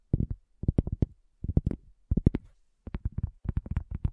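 Long natural fingernails and fingertips of both hands tap a round, flat, solid cork coaster lying on a black table, with a handheld recorder resting at its front edge. Quick clusters of soft, dull, low taps come in short bursts separated by brief pauses, each tap dying away almost instantly with no ring.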